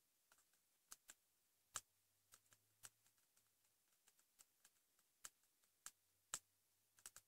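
A pink patterned hardcover notebook with a flat, solid cover, likely cardboard, lies on a bed cover and is tapped rapidly with fingertips and short nails. About fifteen quiet, bright, dry clicks come in an irregular rhythm, each dying away almost instantly, over a faint low hum.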